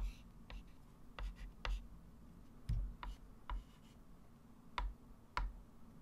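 A hand writes and circles numbers with a white chalk stick on a small, solid, wood-framed flat chalkboard. About eight sharp chalk taps and short scratches stand out over a quiet low rumble, each clicking brightly near 1 kHz and dying away almost at once.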